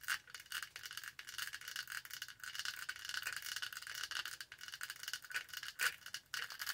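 A purple, studded, hollow plastic tumbler has long nails scratching and scraping its textured lid around the straw. The result is a continuous dry, rattly scratching with many quick clicks and a bright, hissy edge. A faint tone sits near 1.4 kHz, and there is almost no low end.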